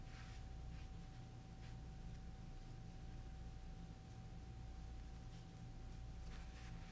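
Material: Nothing is struck.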